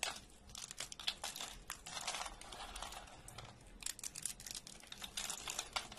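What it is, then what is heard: Dry soap flakes. Thin, brittle flakes of dry orange soap are picked up and snapped or crumbled between fingertips over a pile of flakes. The result is a continuous stream of quiet, dry, bright crinkling and crackling with many fast, tiny snaps and almost no low end.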